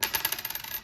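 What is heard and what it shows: A 1982 Denver zinc one-cent coin, a large-date variety, is dropped and bounces with a quick series of light, bright metallic clinks and chatters that fade within a second. Its ring is duller than a copper cent's, marking it as the zinc 1982-D large date.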